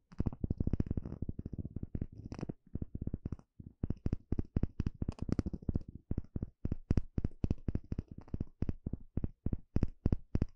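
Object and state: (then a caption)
Bamboo bowl. A small plastic pick pokes and scratches inside a small, hollow, empty bamboo bowl. The result is a quick, irregular run of dull, low, knocking taps with a light scratchy texture. Each tap dies away almost instantly, with dense clusters at the start and more spaced-out taps later.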